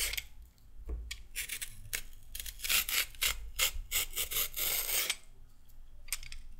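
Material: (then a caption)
Carrot. A mostly peeled, solid raw carrot held in both hands is scraped with a pink-handled peeler. A quick run of short, bright, rasping strokes comes in bursts, going quieter near the end before a last few scrapes.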